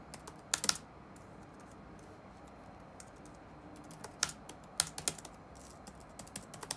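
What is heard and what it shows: Fingertips tap on the black plastic keycaps of a dark laptop resting on a wooden desk. Sharp, bright clicks come in scattered bursts over a low, steady background hiss. Each click is dry and stops at once.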